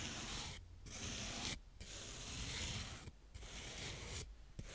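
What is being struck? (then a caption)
Kinetic sand scraped with a plastic spade. A blue plastic spade scrapes and rubs across the surface of brown kinetic sand in close-up. It makes long, grainy, hissing scrapes that are bright and broadband, broken by short quiet pauses between strokes.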